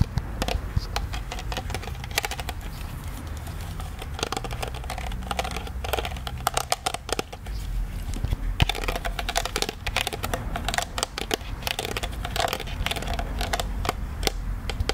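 Fingers and nails repeatedly tap and scratch the surface of a hollow plastic ghost-shaped popcorn souvenir bucket held close to the microphone. A steady stream of short, dry clicks and taps with bright scratchy edges rides over a low, muffled rumble, each tap dying away almost instantly.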